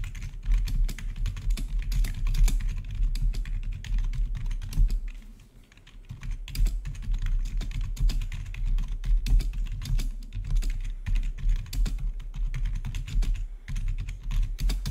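Rapid two-handed typing on the keycaps of a full-size black plastic membrane-style gaming keyboard with blue-to-red RGB backlit keys. Dense, continuous clacking is heard with a heavy low-end thump and short, dry key strikes. The typing eases briefly around the fifth second before picking back up.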